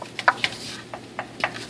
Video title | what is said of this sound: Lake Charles Toyota - 2014 Highlander Ride and Drive - Luxury/Premium Features | plastic Hollow sounds like a cover sounds like plastic